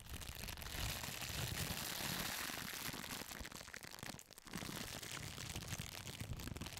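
A crumpled sheet of clear, thin plastic wrap is squeezed and crinkled by a hand with long pink nails close in front of a microphone. It makes a dense, continuous crackling and rustling with bright, hissy highs over a low rumble. The sound dips briefly just past the four-second mark before picking up again.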